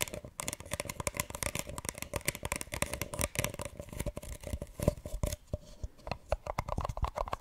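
A small, hollow, empty printed paper cup, held upside down over the microphone, is tapped and scratched on its sides with long nails and fingertips. Quick, dry taps and papery scratching run continuously, with hollow low thumps and a faint steady resonance from the cup. Each tap stops almost instantly with no ring.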